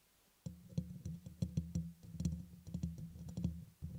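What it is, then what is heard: Metal mesh microphone grille. Fingertips with short nails tap and scratch the hollow, fist-sized, dome-shaped black metal mesh grille on top of a red USB microphone. After a brief near-silent start, the contact produces a close, dense run of soft, boomy low thuds with a steady low hum around 176 Hz. Quick bright clicks and rustles are scattered through it.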